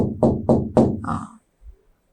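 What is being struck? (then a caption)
Classroom board. A classroom board is tapped four times in a steady rhythm, giving short, dull knocks with a low-mid tone around 230 Hz and almost no high-frequency content. Each tap fades quickly, and the knocks are heard clearly.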